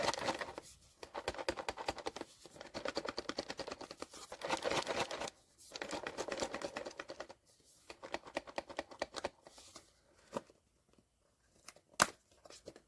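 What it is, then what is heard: Sealed blind box with a vinyl figure inside. A sealed cardboard blind box holding a vinyl figure, the Vigilance, is shaken, giving dense bursts of rattling, scratchy rustling and crinkling. Quieter, sparser taps and knocks follow, with one sharp click near the end. The box turns out to hold the Vigilance figure.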